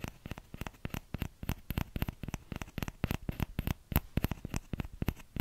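Fingertips tap the hollow bowl of a small orange plastic ladle in quick, uneven bursts, about thirty light hits in all. Each tap is a soft, dull, low knock that stops at once with no ring.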